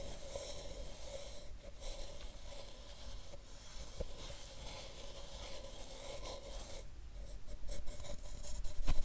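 A hollow white plastic supplement bottle with a paper label, held in one hand, is brushed with a soft makeup brush. The result is a quiet, steady, airy brushing rasp, with a faint steady tone underneath, that grows louder in the last second.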